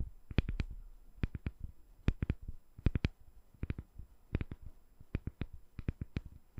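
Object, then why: Glycerin soap bar. Long nails tap a palm-sized, solid, translucent glycerin soap bar with colorful soap balls set inside, held in one hand. The taps come in quick bursts of two or three: short, dry clicks with a soft low thud beneath and a bright crisp edge. Each one dies away almost instantly over a quiet background.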